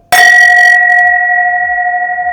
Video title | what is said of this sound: Inside a $200,000,000 Ferrari Collection | คุณรู้ไหมนี่คือไวน์ขาวซึ่งมีระดับเสียงที่แตกต่างออกไปเล็กน้อย